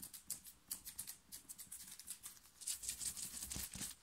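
Long nails of both hands scratch fast across a soft, cotton-like black t-shirt printed with "STAY TRUE," worn on the chest. The result is a quiet, rapid, irregular run of bright, high, papery scraping strokes that each stop almost at once.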